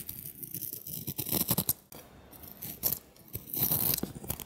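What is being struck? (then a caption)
Bar of soap. A solid white Ivory soap bar with remnants of a black coating is held in the hand while a utility knife blade shaves and carves its edges. Crisp, bright cutting and scraping strokes come in quick bursts, separated by brief quieter pauses.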